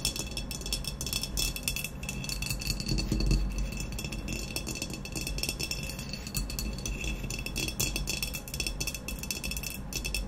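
Long nails tap rapidly on an upright, hollow glazed ceramic vase with a matte black textured body, with some scratching mixed in. The result is a dense, steady stream of bright, clicky rattling taps and clinks over a low, hollow body resonance.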